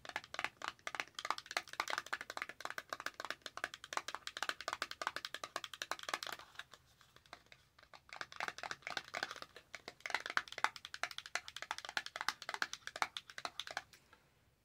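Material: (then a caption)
Cardboard. A small, empty-looking white cardboard foundation box, held in both hands, is scratched and tapped with long matte acrylic nails. The result is a quiet, rapid stream of dry, bright clicks and scratchy crinkles in dense bursts, with a brief lull midway and another near the end.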